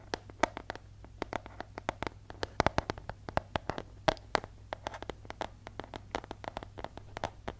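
Fingernails scratch and tap along the surface of a yellow paper envelope with a striped border, held in both hands. The result is a rapid series of short, dry, crisp clicks and papery scratches over a faint, steady low hum.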